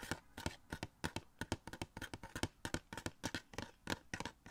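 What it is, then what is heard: Cardboard box with plastic window. A small hollow cardboard Funko Pop box for The Flash, with a clear plastic window and the figure inside, is held up and tapped and scratched with fingertips. Quick, dry taps follow one another in an uneven rhythm, each a short broadband click with a papery, hollow body and almost no ring. Faint scratching fills the gaps between them.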